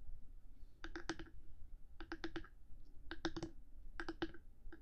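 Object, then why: Hard plastic microphone housing. Long nails tap and click on the top of a black 3Dio binaural microphone's hard housing, one hand tapping while the other sometimes moves away. Short, dry clicks come in quick bursts of three or four, each with a bright edge over a low body and almost no ring.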